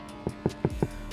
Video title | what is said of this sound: Skoda Kodiaq Speaker Upgrade With 10 inch Sub | It's a lot more solid.